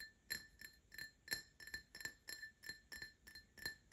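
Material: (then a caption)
Glass. An empty printed Paladone Mario Kart glass tumbler is tapped 14 times with short nails and fingertips at an uneven pace. Each tap gives a soft, bright clink with a clear ring near 1770 Hz and high overtones that fade within a fraction of a second.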